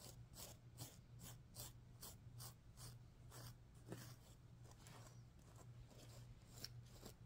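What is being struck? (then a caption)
Sequin-covered stuffed pillow. Fingers and nails stroke and scratch the pink sequins on a stuffed sequin pillow. The result is a quick series of bright, rasping swishes over a steady low hum.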